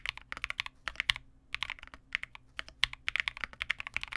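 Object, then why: Mechanical keyboard with plastic keycaps. A Vega65 small 65% mechanical keyboard with re-lubed Cobalt switches, white plastic keycaps and a dark case is typed on continuously with the fingertips of both hands. About 29 quick, bright, clacky keystrokes come in uneven bursts with short pauses, each one dry and instantly decaying, centered around 2 kHz with very little low end.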